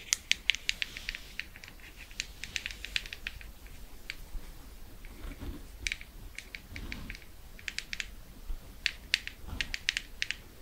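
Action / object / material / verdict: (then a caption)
tap / plastic cosmetic jar with lid / plastic / none. A medium blue plastic Laneige Water Sleeping Mask jar with its lid, likely full, is held up and tapped on the lid and sides with long red nails. The result is a quick, irregular run of sharp, bright clicks that stop dead with no ring, over a faint low background rumble.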